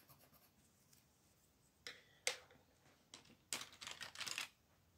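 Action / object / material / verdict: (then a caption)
scrape / thin paper page rubbed with a wooden colored pencil / paper / none. A hand with long orange nails colors a large, flat coloring book page of thin paper on a wooden table, rubbing and scratching the tip of a wooden colored pencil across it, first in green and then in red, while the other hand holds the page flat. Quiet, bright, dry scratching strokes come in short bursts over a faint hiss, building to a dense run of rapid scribbling near the end.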